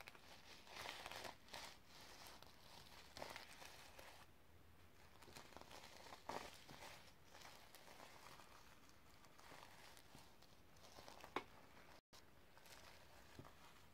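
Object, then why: Notebook with a plastic sequin cover. A palm and long nails rub and scratch the reversible sequin cover of a sequin-covered notebook. The result is a quiet, steady bed of soft crinkling and scratchy rustle with brighter swishing bursts, plus a brief dropout to silence near the end.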